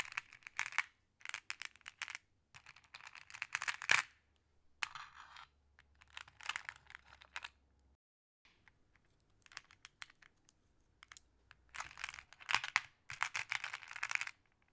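Fingers with long blue nails pick out and sort small, solid, flat glass decorative pebbles in a wooden tray, gathering them in the palm. Bursts of bright, sharp glass-on-glass clacking and clicking, centered around 2 kHz, alternate with brief quiet pauses. Each click dies away almost instantly.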